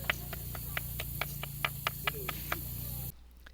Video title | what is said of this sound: Geode Cluster 2023 cleaning #howto #rockhound #geodes #crystal #beforeandafter #rockcollection | our little knock test proved to be accurate this rock really is hollow inside